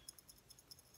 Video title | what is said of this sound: A reveal from digging history | when you shake it there's something in it